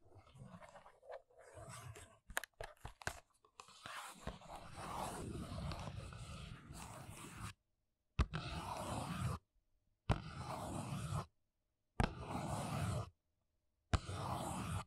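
Long nails tap a small, hollow paperboard press-on nail box held upright, first on its front and then on its side. Quick, dry taps give way to a steady, scratchy rustle with a low, hollow body. Four separate scratchy bursts follow, each cut off by silence.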